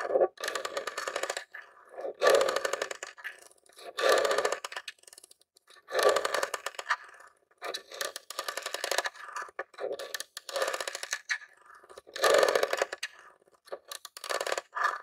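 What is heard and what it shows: Fingers and nails scratch and tap the top vents of a grey plastic mini Nintendo game console, a hollow box. Bursts of dry, rasping scratching with quick clicky taps come in uneven bouts, with a hollow midrange body and bright crackly edges. Short quiet gaps separate each pass.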